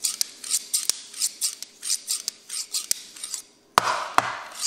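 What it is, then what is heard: Large steel scissors snipping. Large dark steel tailoring scissors of solid metal are held in both hands and opened and closed in the air, cutting nothing, so the blades scrape against each other. A quick run of bright, hissy metal scrapes is punctuated by short snapping clicks. Near the end come two louder, fuller metallic snaps.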